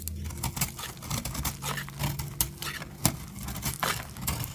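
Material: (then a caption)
Soap. A metal blade cuts crumbly chunks off a solid, dry peach soap bar held in the hand. Each stroke gives a crisp, dry crunch with bright crackling edges over a steady low hum. The cuts come in quick, uneven bursts throughout.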